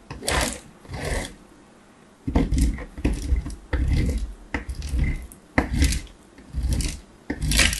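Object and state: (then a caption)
Hard soap grated on metal. A small, solid piece of hard bar soap is held in the hand and rubbed rapidly over the perforated metal face of a box grater. About nine rasping grating strokes come in separate bursts with short pauses between them. Each stroke is a dense, low, scraping rub with a thin bright hiss on top.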